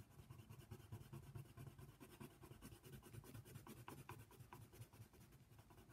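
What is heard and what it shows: A hand colors the ear outline of a giraffe on a paper coloring book page lying flat, using a brown colored pencil. The pencil lead makes quiet, steady scratching strokes against the paper, with a soft, low-weighted rasp that repeats in quick, uneven back-and-forth motions for the full six seconds.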